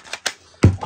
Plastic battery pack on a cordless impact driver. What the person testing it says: on the copy one it's all sort of rattling around a bit